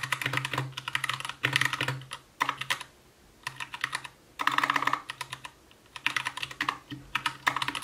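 Continuous two-handed fingertip typing on an Anne Pro 2 60% mechanical keyboard with white plastic keycaps, a translucent case, RGB backlight and Gateron brown switches. Quick bursts of bright, crisp plastic clacks come in uneven runs, broken by short pauses.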